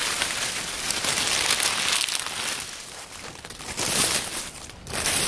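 A pile of dry, crumbling oak leaves on a wooden table is crushed and rubbed between fingers by hands. It makes a steady, bright, hissy crackling and crinkling that swells and fades in waves, with almost no low end.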